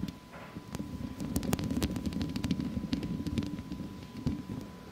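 Long acrylic nails on both hands scratch and tap a hollow wire-mesh metal microphone grille, with the fingers staying on the mesh. A dense, low, rustling scrape runs throughout, broken by many sharp, bright clicks from the taps, over a faint steady tone near 1 kHz.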